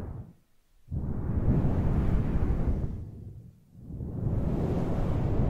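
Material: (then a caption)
Synthetic fur. Fingers with long nails stroke and rub a large, fluffy grey synthetic faux fur microphone windscreen. The result is a deep, muffled rumbling swoosh that swells twice, each after a brief quiet dip, with almost nothing in the high range.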